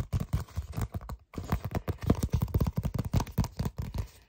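Fingertips and short nails tap and scratch a flat red paper envelope with a flap. A quick, uneven run of soft, dull taps mixed with light papery scratching sounds mostly low and muffled, with a brief pause just after one second. Each tap dies away almost instantly.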